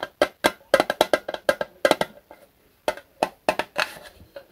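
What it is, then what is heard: Metal lighter fluid can. A small Zippo lighter fluid can of thin, hollow metal with a red plastic spout cap is held in both hands and tapped with the fingertips. About 18 quick, hollow taps in irregular rhythm give a dull, wood-block-like knock centered near 540 Hz. Each tap dies away almost at once.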